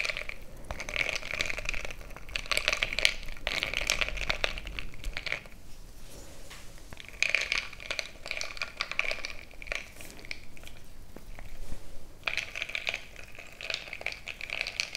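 A bamboo stick is poked and stirred into a frosted glass mason-jar mug full of crushed ice. It makes a steady run of crunching, crackling scrapes with bright glassy clinks ringing near 2.2 kHz, broken by brief quieter pauses.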